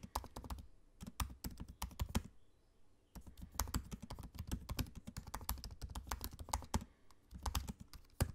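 Fingertips of both hands type on the low-profile black plastic keys of a space-grey aluminium laptop, making quick, soft, dull clicks with a low thud and a brief bright tick. The keystrokes come in rapid bursts, with a short pause near the middle and another near the end, and each click dies away almost instantly.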